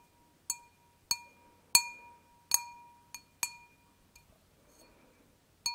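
Long nails tap an empty, thin, hollow stemmed wine glass seven times at an uneven pace. Each tap gives a bright, glassy clink that rings at about 1 kHz and 2.5 kHz with high overtones, then fades within a moment. A couple of fainter ticks sit between the later taps.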